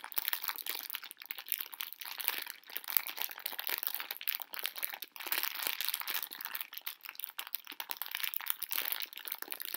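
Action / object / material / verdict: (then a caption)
shake / plastic-film candy bag with candies inside / plastic film / none. A full pink plastic-film candy bag of conversation hearts is gripped and crinkled with long nails while the candies shift inside. Dense, continuous crackling and crinkling fills the whole clip, bright and hissy with almost no low end, in a steady stream of tiny sharp snaps at a fairly quiet, even level.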